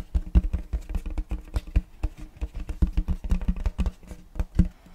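Fingertips tap and drum rapidly across the surface of a large, round checkerboard wooden tray held upright. The result is a dense patter of dull, low, hollow knocks that die away almost instantly, with no bright ring.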